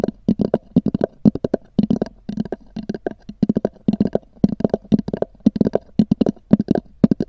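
Long nails tap and scratch across the textured cover of a small black oval hard-shell EVA zip case, which is hollow. About thirty-two quick, dry clicks come in uneven bursts, each with a hollow, low-mid knock around 215 Hz that stops almost instantly, with brief scratchy rasps between them.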